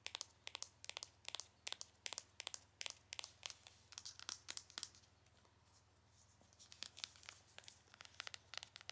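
Long acrylic nails tap and scratch the front and back of a small, hollow printed cardboard cosmetic box, producing quick, dry, bright clicks in uneven bursts, with a quieter stretch of soft scratching in the middle.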